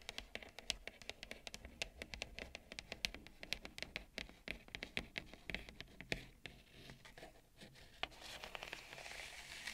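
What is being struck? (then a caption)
Bamboo serving plate. Long nails scratch and tap the rim of a wide, shallow bamboo serving plate with a ceramic bowl of seeds resting on it. The result is a quiet, rapid run of bright, dry clicks and taps that stop dead with no ring, over a soft scratching hiss that grows brighter near the end.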